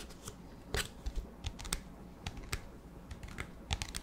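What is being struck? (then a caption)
Plastic disposable cup. An empty, transparent, hollow plastic disposable cup with a black lid is tapped with fingertips and nails about fourteen times in an irregular rhythm. Each tap is a quiet, dry click with a low hollow thump and a bright, crisp edge that dies away almost at once.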